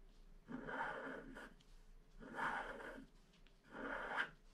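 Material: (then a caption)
Waxed paper. A wooden stylus scratches across a flat black wax-coated paper scratch art card, filling in the planet at the bottom of the picture. Three dry, rasping bursts of scratching, centred in the mid range, rise and fade with short quiet pauses between them.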